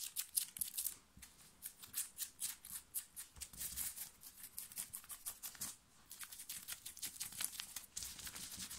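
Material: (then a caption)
Cotton fabric. Long nails scratch fast and aggressively across a soft black cotton printed t-shirt worn on the chest and shoulder. It makes rapid, bright, raspy strokes with almost no low end and a short pause near the six-second mark before the scratching resumes.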